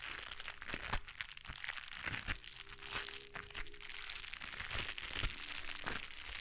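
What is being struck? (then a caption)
Gloves with textured foam fingertips. White gloves with blue textured foam fingertips are rubbed together, the coated fingers crinkling against each other just above a microphone. A dense, steady stream of bright crinkles and small crunchy snaps is heard, with occasional sharper cracks standing out from the rustle.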